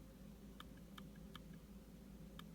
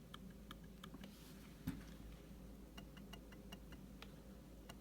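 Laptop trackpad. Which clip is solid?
The first.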